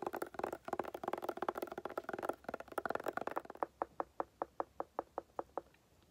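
Long painted nails tap and scratch a hollow, hard clamshell glasses case covered in tan woven fabric or straw. For about three seconds they make a dense, rapid clatter. This is followed by a steady series of roughly a dozen separate, evenly spaced taps with a short, hollow mid-pitched knock.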